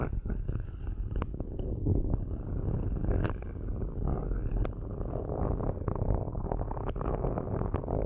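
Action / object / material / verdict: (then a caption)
scrape / metal microphone grille / metal / none. Metal ball-tipped sticks, held with long nails, scratch across the metal grilles of two cylindrical microphones. The result is a steady, dense, low rumbling scrape, heavy in the bass and muffled, broken by scattered sharp clicks and ticks.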